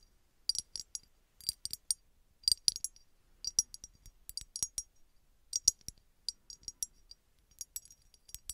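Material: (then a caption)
Glass. Long red nails tap and scratch a small, hollow red embossed glass bottle that appears empty. Quick, bright clicking and scratchy ticks come in irregular clusters over a near-silent background, each with almost no ring.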